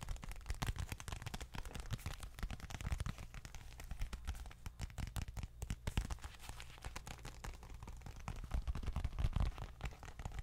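A small dark leather bifold wallet held in hand is tapped and scratched with long nails. The result is a dense, steady stream of quick, dull taps and scratchy rustles that are mostly low and muffled, each dying away almost at once.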